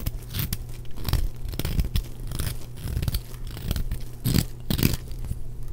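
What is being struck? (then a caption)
Bar of soap scraped with a metal blade. A large, solid block of dry yellow bar soap is held in the hand and repeatedly scraped with a small metal blade. Each stroke gives a short, dry crunching scrape with a low, heavy body and brief bright bursts. Crumbly chunks break off onto a pile of shavings.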